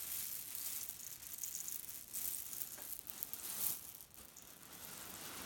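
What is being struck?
Cotton pillow filled with cherry stones.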